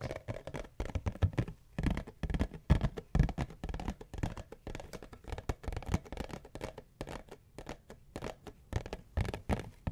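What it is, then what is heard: Cardboard tissue box. A cube-shaped cardboard tissue box is held in both hands while long fingernails scratch and tap across its top and sides. The result is a rapid, irregular stream of dry scratches and dull, quick taps with a hollow, low-heavy body and almost no ring.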